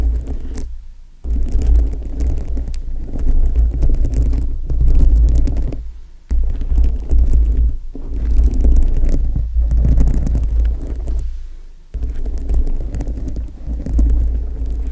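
Long acrylic nails tap and scratch across a dome-shaped foam microphone windscreen studded with plastic rhinestones. The result is a dense, muffled, bass-heavy rumble of scratching and tapping that comes in long bursts separated by brief quiet gaps.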